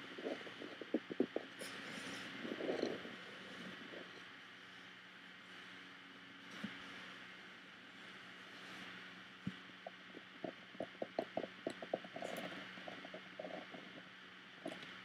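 Fingertips and nails rub and scratch across the woven front of a hollow, woven bamboo-covered box, making soft, crackly scraping with bright texture. A series of short, sharp taps on the top of the lid follows, each dying away almost at once.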